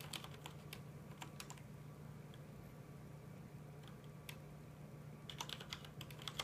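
Both hands tap with their fingertips on a full-size black plastic mechanical computer keyboard with red keycaps. The keystrokes come as sharp, bright clicks in scattered bursts, busiest at the start and the end. A steady low hum sits underneath throughout.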